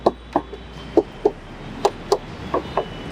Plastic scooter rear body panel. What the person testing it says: పూర్తిగా సాలిడ్ అండి సో ఈ ప్యానెలే కాకుండా ఇక్కడ ఈ ప్లాస్టిక్ ప్యానెల్స్ కూడా చాలా చాలా స్ట్రాంగ్ గా ఉన్నాయి